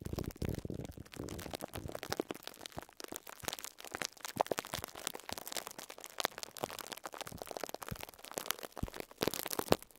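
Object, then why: Plastic cling film wrapped around a sponge. Close-up of fingertips and short nails scratching and crinkling clear plastic cling film wrapped around a pink sponge. Dense, brittle crackles and sharp clicks come in rapid, uneven bursts across the whole clip, bright and broadband with almost no ring. Softer stretches alternate with louder flurries, with a burst of louder crackling near the end.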